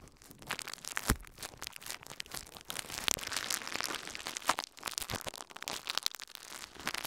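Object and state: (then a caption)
Plastic bubble wrap. A thin sheet of clear plastic bubble wrap, held in both hands over the recorder, is crinkled and squeezed with the fingertips. Bright, dense crumpling and crackling runs throughout, broken by sharper pops, the loudest near the start and middle.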